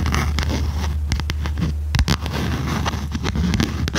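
A small red notebook with a cardboard cover and metal spiral binding is held upright while long red nails tap on its cover. Quick, dry taps click and crackle over a steady low hum, with a brief louder flurry of taps around the middle.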